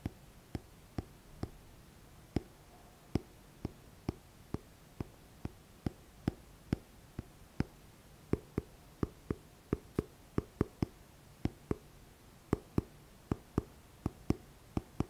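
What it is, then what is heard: Paperback book, solid. Fingertips tap and scratch the front cover of a thick, solid paperback book with a glossy paper cover. About 35 short, dull taps land at an uneven pace over quiet background hiss, each dying away almost instantly, with most of their weight in the low range.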